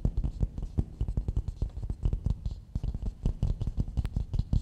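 Fingertips and nails tap and rub the outer surface of a medium, hollow, empty coconut shell bowl held upside down. A rapid, uneven stream of dull, low, woody knocks with very short decay is mixed with faint scratchy rubbing. Nearly all the energy sits in the low range, giving a muffled, hollow thump.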